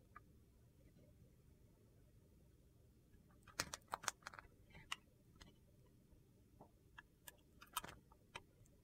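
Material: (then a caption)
Soap. A small solid white bar soap held in the fingers is carved with a metal utility knife blade, and thin slices break off. After a quiet stretch of low hiss, a run of sharp, dry, crunchy clicks and snaps comes at an irregular pace, with short bright bursts and almost no ring.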